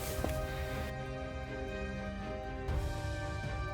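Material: Nothing is struck.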